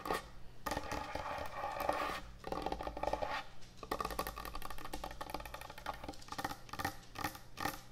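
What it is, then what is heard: Wooden end-grain cutting board. Long nails scratch and tap quickly across a large, thick, solid wooden end-grain butcher block cutting board. Dense, dry scraping bursts alternate with rapid clicky taps, separated by brief pauses, over a steady low hum.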